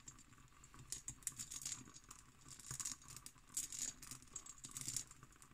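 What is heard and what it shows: Long nails tap and scratch an empty, textured cut glass decanter with its stopper. Quick, quiet, bright clicks and scratchy patter come in clustered bursts with very little ring.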